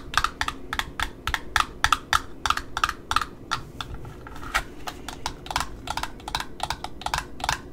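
Long nails tap the cardboard end disc of a black satin ribbon roll on a cardboard spool, then tap and scratch across the wound satin edge. The sound is a quick run of dry, clicky taps, with a slight ringing tone around 1.3 kHz in the first half, that gives way to softer, rustly scratching mixed with lighter taps.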